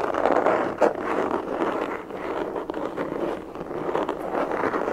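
A closed, hollow black semi-rigid molded pistol carry case with an EVA/nylon shell is held in both hands and tapped and scratched with fingertips and nails. The result is a steady, dense scratching and rustling texture centered in the low midrange, with one sharper tap standing out early on. The sound has little deep bass and only faint bright edges.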